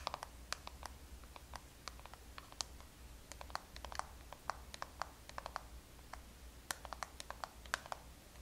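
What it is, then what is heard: Plastic blush compact. Long nails tap and scratch a small, closed, hollow black soft-touch plastic NARS blush compact with blush inside, held in the hands. About 39 sharp, dry clicks ring out irregularly over soft scratching and a steady low hum.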